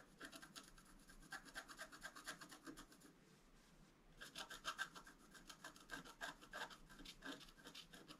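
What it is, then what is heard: Scratch art board being scraped. A wooden stylus scrapes long strokes across a flat, black-coated scratch art card, making dry, bright rasping strokes with a faint squeak near 1.5 kHz. The scraping runs for about three seconds, pauses for about a second, then resumes in a quick run of strokes until the end.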